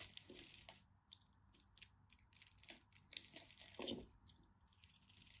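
A utility knife blade scrapes and carves crisp chips off the surface of a hand-sized, green and white striped solid bar of soap held in the fingers. Quick, bright, crunchy scraping bursts come one after another, with a thin, dry, crackly texture and almost no low end. Each cut ends abruptly with no ring.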